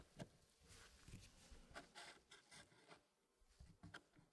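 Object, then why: Wooden puzzle tray with wooden pieces. Fingertips slide and tap solid wooden pieces inside a small square Elegance wood puzzle with a light wood base. Soft, dry wood-on-wood rubbing and scraping is broken by several short, sharp clicks that die away almost at once. The sound stays quiet and close throughout.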